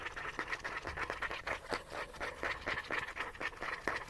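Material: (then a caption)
Plastic. A small, hollow, cylindrical gold-yellow plastic sunscreen bottle with a rounded cap, likely partly full, is held in one hand and scratched fast with short fingernails along its body and cap. The result is a quick, uneven run of dry, bright scratching strokes with a faint hollow plastic ring around 1.9 kHz.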